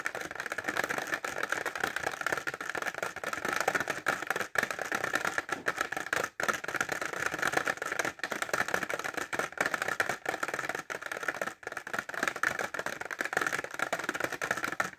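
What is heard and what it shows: Short fingernails tap fast on a clear plastic pencil case filled with pencils and held upright. The result is a dense stream of dry, clicky plastic taps centered around 1.7 kHz, with almost no low end. Each tap dies out almost instantly, and the stream breaks only for brief pauses.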